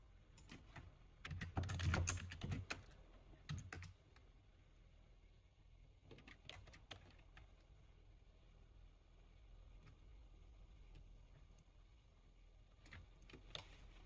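Slow fingertip typing on a full-size black plastic computer keyboard. A dense burst of key clicks with low thumps comes in the first few seconds, followed by sparser, quieter taps against a steady low hum. The clicks have a bright edge and fade quickly.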